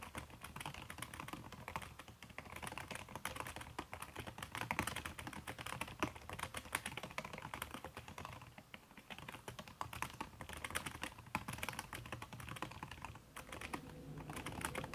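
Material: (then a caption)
Plastic, silicone. Fast typing with fingertips and long red nails on a backlit aluminium laptop keyboard with plastic keys under a red silicone skin. A steady stream of soft, muffled clicks and taps runs through the whole clip with brief, dry decays, briefly easing off near the ninth second before picking back up.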